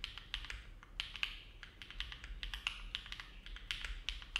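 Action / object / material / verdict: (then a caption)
tap / mechanical keyboard with metal plate and plastic keycaps / plastic, aluminum / none. Both hands type steadily with their fingertips on a compact, silver-cased mechanical keyboard with an aluminum plate and dark plastic keycaps, resting on a desk mat. A quick, uneven stream of short, bright clicks is heard, each one peaking around 3 kHz and dying away almost at once.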